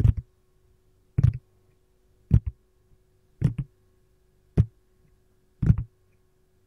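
Long gold nails tap and scratch a green silicone lime-slice ice cube tray, held on its side to show its domed back and compartment edges, hollow and empty. Seven separate bursts of soft, dull, low taps come at roughly one-second intervals, each a quick cluster with a faint bright click on top and almost no ring. A faint steady hum runs underneath.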